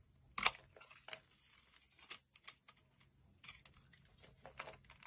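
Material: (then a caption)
Soap. An orange soap bar held in the hand is scraped and carved with a utility blade, giving dry, crisp, bright scraping and crumbly cutting sounds. A sharp cut opens the clip, followed by a series of softer, short scrapes and shavings with quiet pauses between them.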